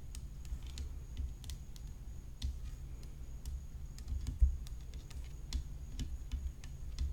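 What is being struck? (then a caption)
Graphite tennis racket frame with rhinestones. Long nails tap along the rim of a hollow graphite tennis racket frame set with rhinestones, making quick, dry clicks with bright, crisp tops that die away almost instantly. The taps come in an uneven, rapid patter over a steady low hum, and the hand moves quickly across the frame near the end.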